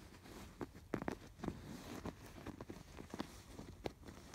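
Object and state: Yarn-embroidered canvas pillow.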